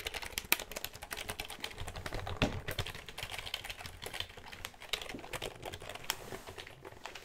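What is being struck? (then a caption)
Plastic computer keyboard. A black plastic computer keyboard with a hollow casing is handled close to the mic, its keys tapped rapidly with the fingers before the plastic underside is turned up and tapped. The result is a dense stream of short, dry, bright clicks with soft hollow low thuds beneath and a few sharper, louder taps standing out.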